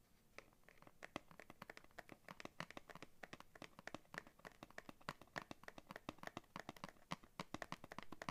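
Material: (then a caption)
Cardboard. Long nails quickly tap and scratch the flat printed cardboard card on the back of a scissors blister package. The result is a dense, quiet run of sharp, dry clicks with no ring, mixed with soft scratchy rasps that continue for about eight seconds.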